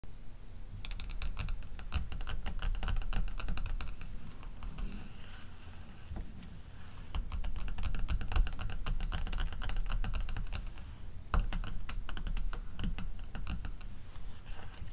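Long teal acrylic nails tap and scratch the front cover of a closed glossy paper O Boticário catalog, a solid stack of pages lying on a fluffy rug. Quick, uneven bursts of light clicking taps mix with soft scratching in several runs, easing into quieter stretches between them.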